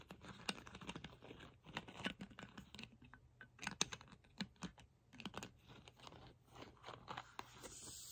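Long pink nails tap and scratch the black plastic screw cap and neck of a hollow Chi Forest sparkling water bottle holding liquid. The result is a quick, irregular run of dry, bright clicks and scraping rasps that stop almost instantly, with a faint steady low hum underneath.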